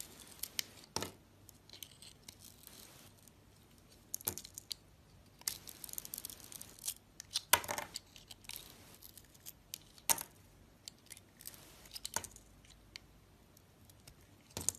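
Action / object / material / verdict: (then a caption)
scrape / bar of soap / soap / none. A metal box-cutter blade slices the edges off a solid white bar of soap with leftover blue coating, held in the hand, and carves into it. The sound is a quiet series of sharp, bright cutting clicks and short crisp scrapes, with brief pauses between strokes and almost no low end.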